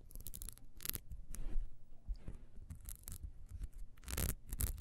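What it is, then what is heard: Ribbed wax candle scratched. Long nails scratch fast down the ridges near the wick of a small, solid, ribbed wax beehive candle standing upright. Quick, bright, crackly scratching strokes come in bursts over a low, dull rumble. The scrapes are dry and short, with no ring after each one.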